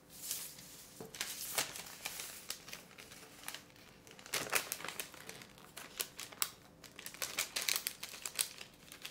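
A folded thin white sheet of parchment baking paper on a wooden table is pressed, creased and smoothed by fingertips. It gives bright, dry crinkling and crackling with many quick, sharp snaps and very little low end.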